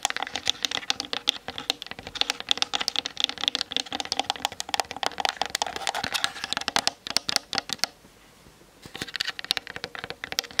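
Long nails tap rapidly on the top and sides of a Canon DSLR camera with a plastic body. The taps are dense, bright, dry plastic clicks with almost no ring. They run steadily, stop for about a second near the eight-second mark, then start again.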